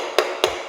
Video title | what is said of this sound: How to fix drummy tiles (and what causes them) | If you hear that really hollow sound, it means the tile is delaminated.